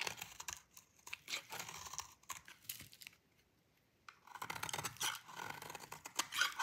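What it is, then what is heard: Dry bar soap being shaved. A metal utility blade cuts and shaves a thin, solid piece of dry cream-white bar soap, leaving crumbly flakes. Dense, bright, dry scraping and crackling comes in rapid bursts, goes nearly silent for about a second in the middle, then resumes with sharper crunchy cuts.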